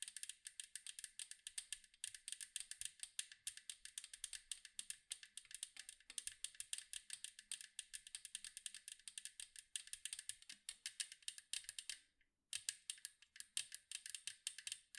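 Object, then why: Metal cookie tin. Long nails tap rapidly on the striped side of a large, round, hollow metal cookie tin. The result is a dense, steady stream of bright, crisp clicks with almost no low end and very short ring. The tapping stops briefly near the twelve-second mark, then resumes.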